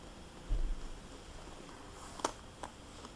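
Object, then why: Plastic cosmetics bag. A small, hollow, flexible red polka-dot glossy plastic cosmetics bag is turned on a table and tapped with long nails. A soft low shuffle is followed by a couple of crisp, bright clicking taps that stop almost instantly over quiet background hiss.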